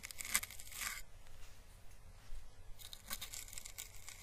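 Paintbrush bristles brush across a hollow, papery, dried orange Chinese lantern husk (a papery plant calyx) held in the hand, giving bright, dry crackling and rustling. A burst of crackles fills the first second, then it goes quiet before the crackling picks up again for the rest of the clip, over a faint low background hum.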